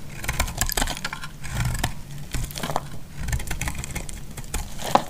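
A solid, hand-sized, semi-dry white bar of soap, held in a hand with long dark nails, is cut and shaved with a utility knife blade and crumbles into flakes. Dense crisp scraping and crackling crunches repeat throughout, with a low thudding body and bright clicks. A sharp snap is heard near the end.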